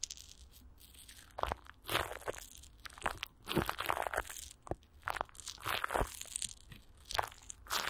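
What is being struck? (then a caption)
Plastic film over a microphone grille. Clear plastic wrap with Vaseline is stretched over a hollow microphone grille while fingers rub and squeeze the film, then a palm presses down on the top. Bursts of crinkly, crunching plastic rise over a soft rustling background, with bright crackles, dull thumps, and a quick, dry decay.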